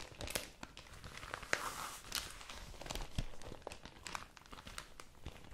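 A pink printed newsprint supplement is rolled, folded and crinkled in both hands, worked with the fingertips and long nails. The result is a steady, dense crinkling and crackling, broken by sharp, bright paper snaps over a low rustle.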